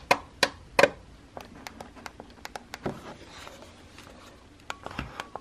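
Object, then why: Plastic instant camera body and button. A fingertip with a painted nail presses the button beside the flash on a white Instax instant camera with a small hollow plastic body. Three sharp, bright clicks open the clip, followed by a run of lighter, irregular plastic taps and clicks, then a few firmer clicks near the end.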